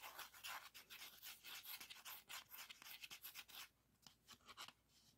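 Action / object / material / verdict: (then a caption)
scrape / plastic floppy disk with paper label / plastic / none. A blue 3.5-inch floppy disk with a hard plastic shell, a metal hub and a paper label is held in both hands while fingertips and nails rub and scratch the label and the textured plastic surface. The clip is a quick run of bright, hissy scraping strokes in an uneven rhythm, with almost no low end and no ring after each stroke. The scratching grows softer and sparser toward the end.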